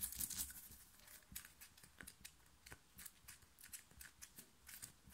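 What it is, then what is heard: Cotton t-shirt scratched with nails. Long nails of both hands scratch fast across a soft, black cotton-like t-shirt printed with "STAY TRUE," worn on the chest. A dense, loud burst of scratching at the start gives way to a rapid run of short, bright, rasping strokes with quick, crisp decay.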